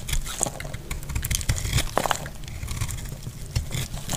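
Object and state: Dry soap bar.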